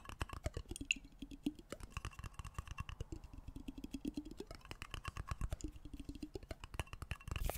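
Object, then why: Glass jar with water. A medium clear glass jar with a black lid, partly filled with water and held sideways, is tapped rapidly with fingertips and nails. The result is a fast, steady stream of short, dry clicks over soft low thumps, with a faint glassy tone near 2.7 kHz and very little ring after each tap.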